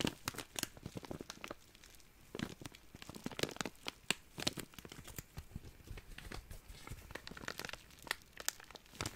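A small, empty, clear, thin plastic zip-lock bag is crinkled and rubbed with the fingertips. It makes a dense run of crisp, bright crackles and sharp snaps that die out at once, with quieter rustling between them.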